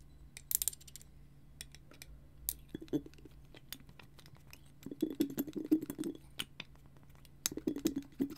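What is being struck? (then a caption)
Small frosted glass bottle with glass stopper. A frosted glass bottle with a clear glass stopper and twine, held close and tapped with fingertips and nails. Quiet, sparse clicks and taps with short, bright ticks are heard at first. Then clusters of hollow, small-sounding taps ring briefly around a low-mid tone.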